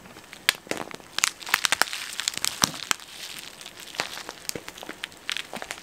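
A flexible, hollow yellow printed plastic snack packet, twisted at the top, is crinkled and squeezed with the fingertips right next to the microphone. A steady stream of sharp, bright crackles and crinkles, mostly high in pitch with almost no low end, pops out over a soft rustling bed. Each crackle dies away instantly.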